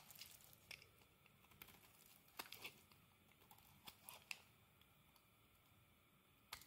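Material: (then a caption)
Soap. A utility knife blade shaves and carves the surface of a solid rectangular green bar of soap held in the hand, turning it into curls and shreds that pile up beside it. Quiet, bright, crisp scraping and crinkling is punctuated by sharp, short clicks and snaps as the blade bites into the soap.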